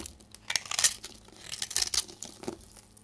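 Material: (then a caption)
Soap. A metal knife blade scrapes and cuts into a solid, dry pink bar of soap with a carved, hollowed face, held in the hand, shaving off powdery flakes. Short bursts of crisp, bright, crumbly scraping and crackling come in uneven clusters with no ring after each stroke.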